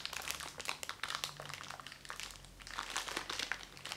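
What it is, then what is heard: Cellophane-wrapped makeup sponge. A small round white makeup sponge sealed in thin cellophane packaging with a cardboard backing is squeezed and rubbed with the fingertips close to the microphone. The cellophane gives off continuous bright crinkling and crackling with many quick, dense bursts. There is almost no low end, and the quiet gaps fall around the middle of the clip.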